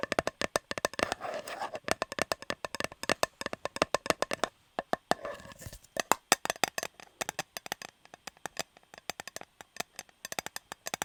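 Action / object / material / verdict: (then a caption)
tap / metal cake tin / metal / none. Rapid, light tapping on a shiny, unopened Fortnum & Mason metal fruit cake tin with the cake still inside. Sticky tape on the rim adds to the sound. The taps are short, crisp and clicky with a bright metallic edge and almost no ring, coming in quick bursts with brief pauses.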